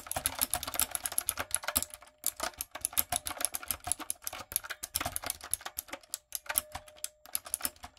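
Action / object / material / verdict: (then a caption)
tap / mechanical keyboard with plastic keycaps / plastic / none. Fingertips with long acrylic nails type on a light-up, typewriter-style mechanical keyboard with round plastic keycaps. The result is a rapid, steady stream of sharp, bright clicks that stop dead, with brief pauses around the second and sixth seconds.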